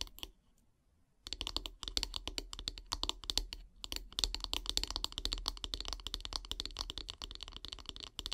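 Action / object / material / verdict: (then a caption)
tap / wooden brush handle / wood / none. Long painted nails tap rapidly on the solid wooden handle of a bristle brush, making dense, bright, dry clicks with almost no ring. A brief near-silence opens the clip, then a fast, uneven stream of taps continues to the end.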